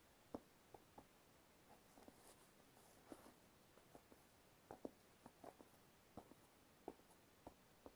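Fingertips and nails tap and scratch the rubber tread sole and sides of a hollow, empty black sneaker held in one hand. A series of quiet, short, dull taps lands irregularly, with faint bright scratching between them. Each tap dies away almost instantly.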